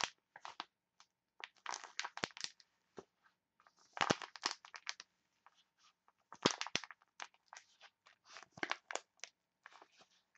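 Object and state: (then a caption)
Foil face mask sachet being crinkled. A printed foil face mask sachet is squeezed and crinkled by hands with long nails. Irregular bursts of bright, crisp crinkling and crunching are heard, with sharp snaps and brief quiet gaps between them. The crackles stop instantly, with no ring after each burst.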